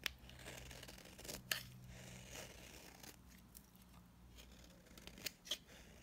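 A utility knife blade scrapes across a solid, dry blue bar of soap held in the hand, shaving off powdery dry flakes. The strokes make bright, crisp scratching rasps with a few sharper clicks, over a faint steady low hum.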